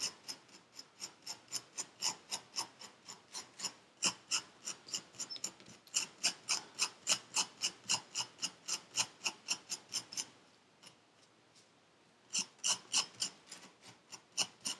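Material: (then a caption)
Sand. A metal needle tool scrapes grooves into purple kinetic sand packed into a paper cup. About 44 quick, bright, gritty strokes sound at a steady pace of roughly three or four per second. The strokes pause for about two seconds near the ten-second mark, then resume.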